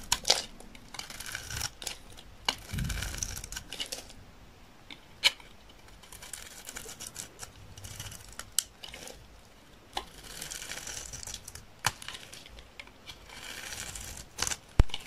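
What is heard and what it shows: A utility knife blade shaves flakes off a solid, dry green olive oil soap bar held in the hand. Bursts of bright, gritty scraping alternate with short dry clicks and quieter gaps, with a brief low thump near the start.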